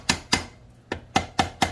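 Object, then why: Metal gearbox cover struck with a dead blow hammer. A metal gear cover on a Reduction Boss 40% gear reduction is tapped six times with a dead blow hammer to break its seal, listening for a change in sound that shows the cover is coming loose. Each tap is a sharp, bright knock with a short ring around 770 Hz that fades quickly, with the taps unevenly spaced.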